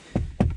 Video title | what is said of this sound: Petty complaints about my 2012 Civic Si - 9th Gen Civic Si- | now it sounds cheap like the whole interior sounds cheap